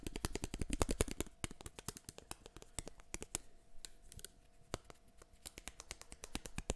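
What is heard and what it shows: Fingertips tap and scratch the rims and arms of a small, solid black plastic eyeglasses frame held close to the mic. The result is a quick, irregular run of sharp, bright clicks that die away almost instantly, with soft scratchy rustling between them. A faint steady tone sits underneath.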